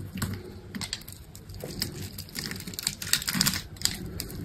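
A metal utility knife blade cuts a grid into a hand-held solid green bar of dry soap with a red coating and scrapes it into cubes. The result is a rapid series of short, dry, crisp scratching and clicking cuts with bright high-end texture and almost no ring.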